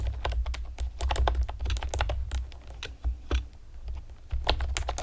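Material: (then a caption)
Plastic. Long painted nails and fingertips rapidly tap a pastel plastic typewriter-style computer keyboard with round retro keycaps and hollow keys. Sharp, clacky clicks come in quick bursts and short pauses, each one brief and dry. A steady low hum runs underneath.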